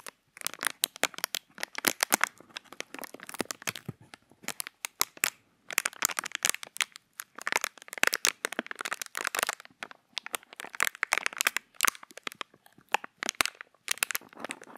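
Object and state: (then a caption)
Clear plastic packaging. A small, empty, hollow piece of clear plastic packaging is held in the fingers close to the microphone while the fingertips crinkle and squeeze it. Dense bursts of sharp, bright crackles come in quick clusters separated by brief pauses, each crack dying away almost instantly, with no low-end body to the sound.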